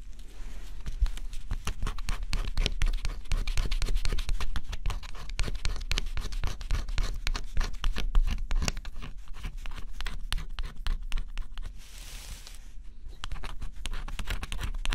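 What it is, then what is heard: Cardboard scratch-off puzzle being scratched. A small stylus scratches the black scratch-off coating on a flat, thin cardboard jigsaw puzzle. Rapid, irregular scratchy strokes with a dull low thump beneath them continue throughout, and a brief airy hiss rises near the end before the scratching resumes.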